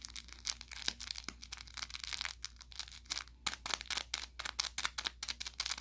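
An orange velour plush carrot cat toy with crinkle filling and a SmartyKat tag, about 30 cm long, soft and stuffed, is held in one hand and squeezed and scratched with the fingertips and short nails of the other. Bright, papery crinkles and crackles come in rapid, uneven bursts, with sharp pops between them over a faint steady low hum.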